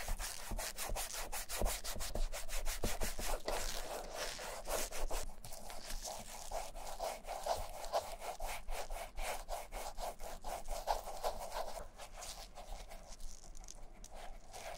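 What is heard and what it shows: Black nitrile-gloved fingertips rub cream into the smooth black leather upper of a vintage Camper shoe, near its metal eyelets. Quick, uneven back-and-forth strokes make a steady, soft swishing and squeaky rubbing with a mid-range tone. The strokes grow slightly quieter toward the end.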